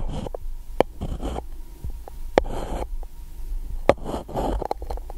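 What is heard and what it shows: A pencil scrapes and taps against the side and rim of an empty gold-coated paper cup, which is held over the microphone by one hand. Soft, muffled scraping bursts alternate with a few sharp, brief taps that ring faintly around 560 Hz. The sound is weighted toward low, hollow tones with little brightness.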